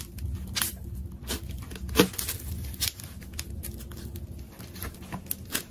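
A large, solid ball of many layered, multicolored plastic tape is held in one hand and sliced and peeled with a metal craft knife. Sharp crinkling and tearing bursts, the loudest near the two-second mark, crackle over a steady low rumble. The tape rips away in short, bright strips.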